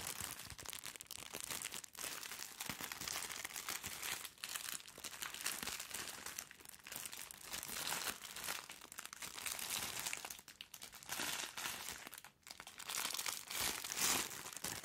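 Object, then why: Soft package wrapped in thin plastic film. A soft package sealed in thin clear plastic film is held beside the microphone and squeezed and scratched with long nails. It gives a steady, bright, dense crinkling with almost no low end, broken by a few brief dips in loudness.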